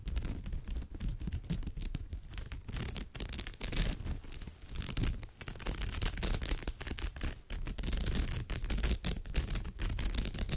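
Long nails scratch a woven straw bag's surface in close-up, giving a dense run of short, dry rasping strokes. The texture is bright and crackly, with a low rumbling underlayer, and the scratching continues almost without pause across the clip with brief dips in level.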